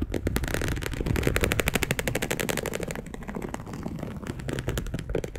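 A dark brown perforated polyester mesh fabric sheet, laid flat, is scratched with long acrylic nails. The result is a rapid, uneven run of short, dry scratches with a deep low body and a bright crackling edge. Each stroke dies away at once.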